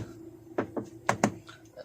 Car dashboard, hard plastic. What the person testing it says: it feels like it's hollow. Not that hollow, but still the sound feels like it's hollow.